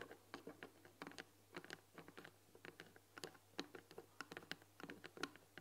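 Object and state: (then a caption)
Wooden tea box tapped with fingernails. Long nails tap rapidly on the front "THÉ" panel of a long, white painted wooden box with a glass lid, hollow and full of tea packets. The result is a quiet, irregular patter of short, dry clicks with bright edges and almost no ring, over a faint steady low hum.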